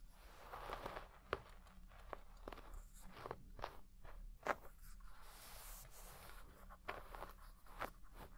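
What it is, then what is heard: Shag carpet brushed with a wooden brush. A wooden hairbrush with wooden pins is brushed through the fibres of a large red shaggy textile carpet with deep pile, while the other hand rests flat on the carpet. Soft, scratchy rustling strokes are punctuated by short, crisp crackling snaps, over a steady low hum.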